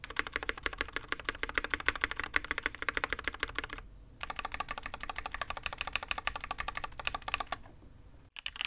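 A full-size custom mechanical keyboard, a Matrix 8XV 2.0 with a dark aluminium case and red and grey ABS keycaps on a desk mat, is typed on with one hand's fingertips. Rapid, uneven keystrokes give sharp, bright clacks with a short tail, about 52 of them. There is a brief pause near the four-second mark and a sharper final press at the end.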